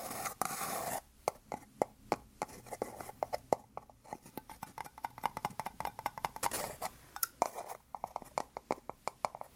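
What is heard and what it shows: Two small white plastic cups joined rim to rim, hollow and empty, are held in both hands and tapped with fingertips and nails. A rapid, uneven series of short, dry, hollow clicks follows, centered in the midrange with almost no low end and no ringing. The tapping is preceded by a brief stretch of bright rustling noise.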